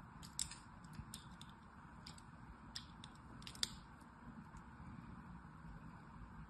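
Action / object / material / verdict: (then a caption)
scrape / bar of soap / soap / none. A thin metal needle scratches and carves diagonal grooves across a solid blue, palm-sized rectangular bar of soap held in one hand, chipping off small flakes. Short, bright, crisp scratchy ticks and clicks come at irregular intervals over a steady low background hiss and rumble, and the whole clip stays quiet.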